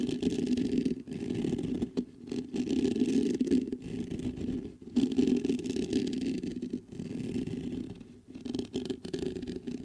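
Fingertips scratch and tap the mesh grille of a black metal USB condenser microphone. The result is a dense, steady scraping rustle with a warm low-mid body and a few brief quiet gaps between bursts.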